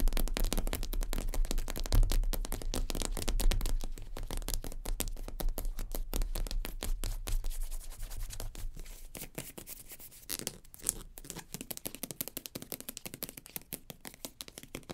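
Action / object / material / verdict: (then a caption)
tap / plastic cosmetic squeeze tube / plastic / none. Long nails tap and scratch the flat surface of a small sage-green plastic cosmetic squeeze tube, likely partly full, lying on a fur rug. The result is a fast, dense stream of short, dull taps and scratchy rustles with a heavy low thump. It grows quieter and sparser after about eight seconds, leaving lighter, separate clicks.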